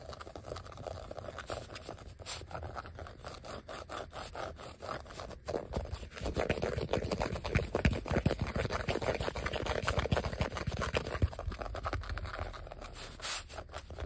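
Fingertips and short nails of one hand scratch a flat, thin yellow vinyl sheet of die-cut letter and number stickers lying on a surface. The result is a dense run of quick, dry scraping strokes with a muffled low thump underneath. The scratching grows louder and busier through the middle of the clip before easing off toward the end.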